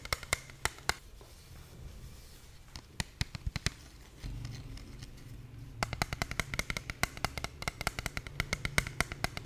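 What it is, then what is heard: Plastic game controller. Long painted nails tap and scratch a small, hollow, white plastic handheld gamepad held in both hands close to the microphone. Sharp, dry clicking taps with a bright plastic tone sit over a soft scratching rustle that thickens and deepens midway. Then the taps come in a faster, denser run to the end.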